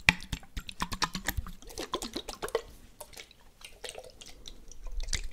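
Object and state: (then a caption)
Glass jar partly filled with water. A small glass jar, partly filled with water and closed with a blue checkered lid, is shaken so the water sloshes while fingertips tap the glass. A rapid run of short, bright taps with dripping, liquid tones fills the first half, then the sound turns into softer sloshing and scattered light clicks.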